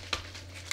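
A spray makeup bottle of hot pink color is shaken before spraying, and the mixing ball inside rattles in a few sharp, bright clicks over a low steady hum. The audible ball shows the paint is mixing properly; without that rattle, it would not be mixing.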